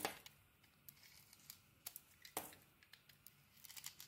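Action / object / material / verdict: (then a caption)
scrape / bar of soap / soap / none. A utility knife blade shaves and cuts a solid bar of soap with a black outer layer and cream core, held in the hand. Short, crisp scraping and crumbly cutting sounds come in a quiet, bright string, with stronger cuts at the start and just past the middle and quick little flicks in between.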